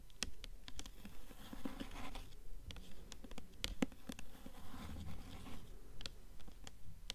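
A blue hardcover book with a paper dust jacket is held upright while long nails tap and scratch across the front of the jacket. Quiet, quick, fairly steady taps with short, dry decays mix with papery scratching, and most of the sound sits low with little high brightness.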